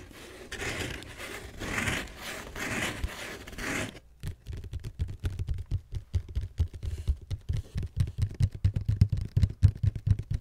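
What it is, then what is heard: Cardboard shoe box lid scratched with nails. Long nails scratch the lid of a hollow red cardboard Vans shoe box, first in a few seconds of broad, hissy scraping, then in quick, uneven strokes. The scratches carry a dry, bright edge over a low, hollow thud from the box, and each stroke dies away almost at once.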